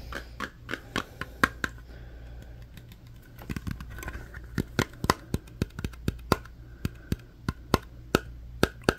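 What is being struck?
Small round metal tin.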